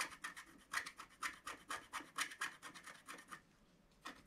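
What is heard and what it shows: A wooden stylus scratches across a black wax-coated scratch art sheet lying flat, working near the presents. About seventeen short, dry, raspy strokes come in a quick, uneven rhythm with a bright hiss around 2 kHz. A brief pause follows, then one last stroke.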